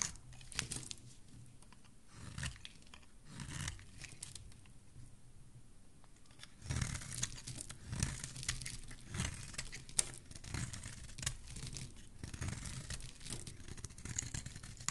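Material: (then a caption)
Soap. A solid, curved white soap bar is held in the hand while a metal blade scrapes and shaves along its edge. The result is a series of dry, tearing, crinkly scraping strokes with bright hiss and a low rumble, including a quieter pause in the middle. The strokes then grow denser and more frequent toward the end.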